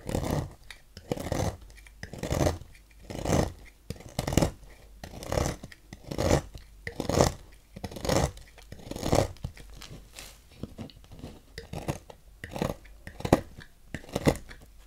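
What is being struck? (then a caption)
Bar of soap scraped with a thin knife. A thin metal knife scrapes flakes off the ridged face of a partly carved, solid green bar of soap held in the fingers, letting the flakes fall into a pile on the table. Dry, crisp scraping strokes come about once a second at an uneven pace, each a short rasping burst with a soft low thump and bright fizzy edges, separated by near-silence.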